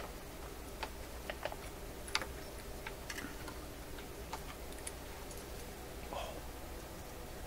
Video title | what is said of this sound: Rogers 11RA651 Shortwave Radio Video #14 - New Tubes In | That doesn't sound good at all.